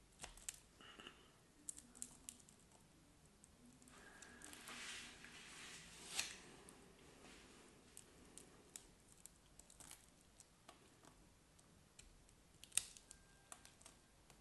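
A craft knife blade slices grid cubes off a solid, scored cream soap bar held in the hand. It makes a quiet series of crisp, bright clicks and crackles, with a softer scraping swish building around the middle and a few sharper snaps as pieces break away.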